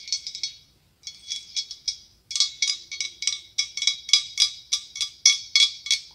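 Long acrylic nails tap and scratch on a large hollow, ribbed white blown-glass pumpkin with a clear glass stem. They make about 24 bright, high-pitched clicks with short glassy ringing, in quick irregular bursts. A brief pause follows the first few taps.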